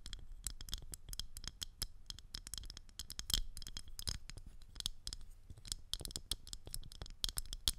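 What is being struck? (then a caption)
Thin plastic ring tapped and scratched with long nails. Long acrylic nails tap and scratch the rim and surface of a thin, transparent, round plastic ring that is hollow in the centre and held around the top of a microphone. The result is a rapid, uneven run of short, sharp clicks and scrapes, each with a bright high edge over a low thump, dying away almost instantly.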